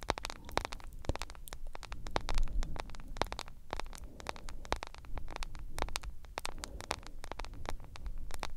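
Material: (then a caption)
Plastic, glass. A smartphone with a glass screen in a yellow plastic case is tapped and scratched with long nails, producing a rapid, irregular stream of sharp, short clicks. The clicks are crisp and bright with almost no ring, over a steady low rumble and faint hiss.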